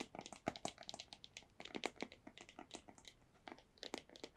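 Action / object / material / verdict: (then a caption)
tap / small cardboard box / cardboard / none. A small, hollow white cardboard earbuds box is tapped on its faces with long nails. The result is a quick, irregular run of light, dry taps with crisp, bright clicky edges and almost no ring, some slightly louder and more hollow-sounding than others.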